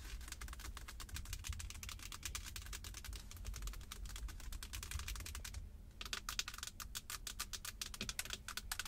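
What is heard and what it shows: Long acrylic nails rapidly tap and scratch along the top of a solid, leather-wrapped Jeep steering wheel rim with a black cover. The result is a dense run of short, crisp clicks with bright high end, a brief pause just before the six-second mark, over a steady low hum.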